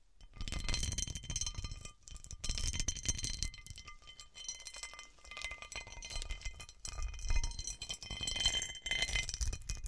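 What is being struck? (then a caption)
Cut glass dish. Long nails and fingertips scratch and tap the star-cut facets of a large, hollow cut-crystal glass serving dish turned upside down. A dense, continuous rattle of quick clinks and scraping ticks is heard, with bright glassy ringing tones over soft low thuds. The bursts swell and ease in waves throughout.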